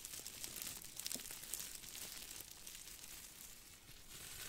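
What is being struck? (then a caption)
Aluminum foil ball. A small crumpled ball of aluminum foil is squeezed and crinkled with the fingers, giving a steady run of quiet, bright crackles and crisp crinkling ticks. The sound is mostly high and hissy with little low end, and the snaps come irregularly without settling into a rhythm.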